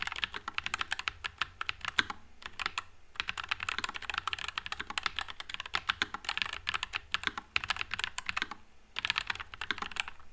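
A white low-profile NuPhy Air96 mechanical keyboard with Wisteria switches and plastic keycaps is typed on continuously with the fingertips. It produces a rapid stream of short, dry, bright clacks with little low end, broken by brief pauses near the 2.5-second and 9-second marks.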